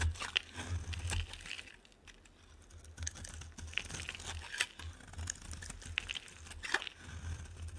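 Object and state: Bar soap being shaved.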